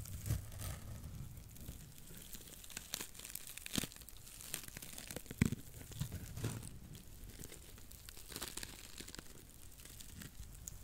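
A porous, dry blue cellulose sponge is curled and scratched with long nails close to a microphone. The result is quiet, dense crinkling and crunchy scratching with a low rumble, punctuated by short, bright crackles throughout.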